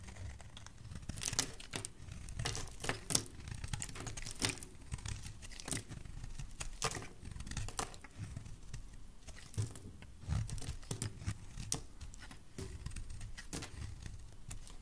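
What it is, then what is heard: Bar of soap being shaved. A solid oval embossed pale pink soap bar is shaved with a utility knife blade, giving a run of short, crisp scraping and crumbly cuts. The strokes come as brief dry bursts with bright, high crackle over a soft low rumble, each fading almost at once.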